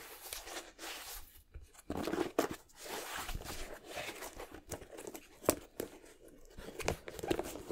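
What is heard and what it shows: A purple Jordan-style high-top sneaker with a leather and suede upper and rubber sole, hollow and empty, is held in both hands while fingertips and nails tap and scratch the upper and tongue area. Soft, dry taps mix with scratchy, crinkling rasps that die away almost instantly, with a few sharper knocks standing out among the quieter scratching.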